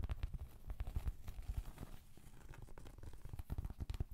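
A large, thin, solid round cork trivet is held up and scratched with long, pointed acrylic nails. The result is a quiet, soft, dull run of rapid scratching taps, heavy in the low end and uneven in rhythm.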